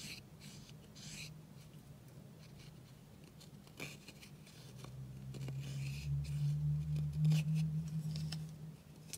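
A pink plastic spatula scratches and crumbles the white pressed powder eyeshadow in a small black plastic palette with a clear lid, held in hand. Quiet, dry scraping ticks run through the clip over a low steady hum that swells louder in the second half before fading near the end.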